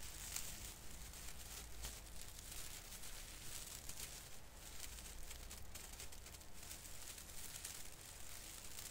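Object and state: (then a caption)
Plastic artificial Christmas tree branch. Fingertips brush and pinch the tips of a plastic artificial Christmas tree branch, an artificial fir with thin plastic needles. The result is a quiet, steady, bright rustling crinkle with light irregular crackles over a low background rumble.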